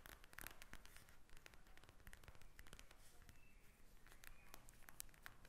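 Long nails tap and scratch a pink plastic gel bead eye mask lying flat. Quick, dry clicks and scratches overlap into a soft, continuous crinkly sound at low volume.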